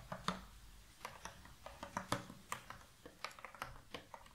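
Fingertips and long nails tap the rim and sides of an open, medium-size rectangular cardboard puzzle box full of loose cardboard jigsaw pieces, and the box is shaken. About fifteen short, dry, sharp clicks come at an irregular pace, each with a bright top. A soft low rustle of the loose pieces runs underneath.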